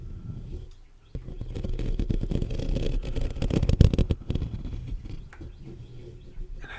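Short fingernails and fingertips scratch and tap the black metal mesh grille of a large hollow USB condenser microphone. A dense, crackly rustle of scratches and quick taps booms with deep, muffled low end. It starts abruptly after a quiet moment, peaks around the middle, then thins out.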